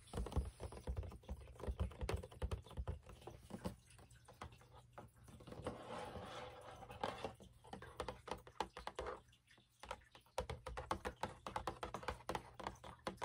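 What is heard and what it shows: Long acrylic nails tap rapidly across a large, hollow Lucky Charms cardboard cereal box held in both hands, as it is turned from the back panel to the front. The taps are quick, dry clicks with a dull, low cardboard thump and very short decay, coming in dense bursts with a brief lull near the ninth second.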